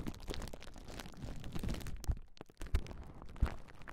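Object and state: Plastic bubble wrap being popped.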